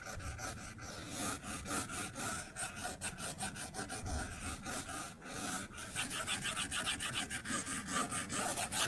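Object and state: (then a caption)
Stylus scribbling on a glass tablet screen. A plastic stylus tip scribbles coloring strokes across the flat glass screen of an iPad tablet, scratching the glass. It makes a steady run of quick, raspy rubbing strokes with a bright, hissy edge, growing slightly denser and crisper toward the end.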